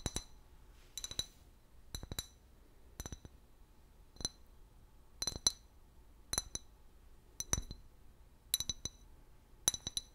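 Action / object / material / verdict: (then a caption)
tap / large clear glass bottle / glass / none. Long fingernails tap an empty, large hollow clear glass liquor bottle with a paper label. Quick clusters of two or three sharp, bright clinks repeat every second or so, each dying away almost at once with only a faint high ring over a quiet background.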